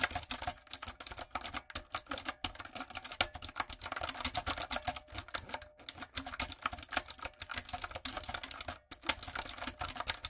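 Long nails and fingertips type on a retro typewriter-style backlit mechanical keyboard with round plastic keycaps. A fast, steady stream of sharp, bright clicks and clacks is heard, each hit dying away almost instantly, with only brief pauses between bursts.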